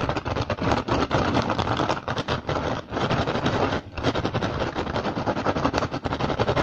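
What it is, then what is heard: Woven rattan basket tapped and scratched. Fingertips and short nails tap and scratch rapidly on an upturned, hollow, empty woven rattan basket. The sound is a dense, continuous run of dry, crackling taps and scrapes with short breaks, full across low to upper-mid tones.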